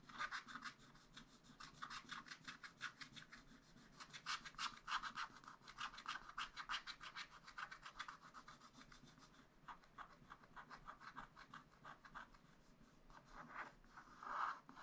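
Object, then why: Black-coated scratch-art paper scratched with a wooden stylus. A wooden stylus scratches the black coating of a paper sheet on a spiral-bound scratch-art pad, near a red ornament. Quick, dry scratching strokes come in an uneven, fast rhythm of about three per second. Each stroke is a soft, bright rasp centred near 1.2 kHz with high hiss and almost no low end.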